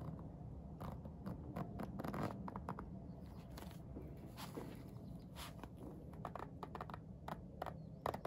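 Fingertips pull the slider of a blue plastic coil zipper along an iridescent holographic faux-leather vinyl pencil case holding pencils, zipping it. A quiet, low scratchy rasp runs throughout, broken by many short, sharp ticks with bright edges as the slider catches on the zipper teeth. Each tick stops almost instantly with no ring.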